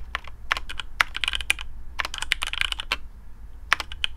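Fingertips of both hands type quickly on a black custom AARU mechanical keyboard with TTC Speed Silver switches, PBT plastic keycaps, a carbon fibre plate and a hollow case. The result is a dense stream of sharp, bright, clacky keystrokes that die away almost instantly, over a faint low rumble.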